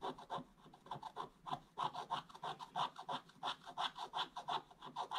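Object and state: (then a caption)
Scratch-art paper board being scratched. A wooden stick scratches a flat, solid, black-coated scratch-art page in quick back-and-forth strokes. The result is a steady run of short, dry, raspy scrapes, about three per second, each with a midrange tone near 1 kHz and a bright hiss above it. Almost no low end is heard.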